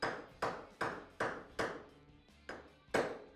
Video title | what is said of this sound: How To Rebuild the Water Pump on a Polaris RZR, Ranger and General UTV | you can hear where that changed pitch that's seated all the way in there